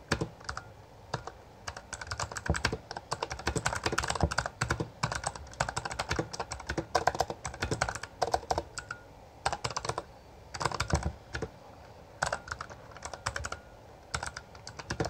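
Both hands type rapidly on a full-size backlit Bloody B820R mechanical keyboard with plastic keycaps, which sits on a desk in front of a laptop. The fingertips press and tap the keys in fast bursts of short, sharp clacks with a brief pause between runs. The result is a dense, bright plastic clatter of keystrokes.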